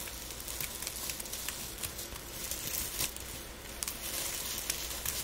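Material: Dried petals.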